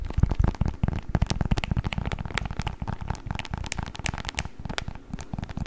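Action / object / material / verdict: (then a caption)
scrape / beeswax-coated cotton wrap / waxed cotton / none. A beeswax-coated cotton wrap, folded and rolled, is crinkled and squeezed with the fingers. It makes a dense, continuous stream of sharp crackles and clicks over a heavy, low, muffled rustle, with occasional brighter snaps cutting through.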